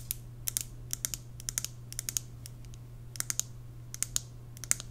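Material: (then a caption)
Glass, wood. A large WoodWick candle in a glass jar full of white wax, with a wooden lid, is held in the hands while long nails tap and scratch the lid and glass. Quick, bright clicks come in short irregular bursts, each dying away almost at once, over a faint steady low hum.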